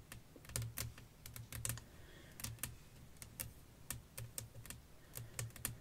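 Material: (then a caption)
Glass. Long fingernails tap on a flat, clear glass sheet laid over lace fabric. The taps come as a quick, uneven run of sharp, bright clicks, each with a soft low thump and almost no ring afterward.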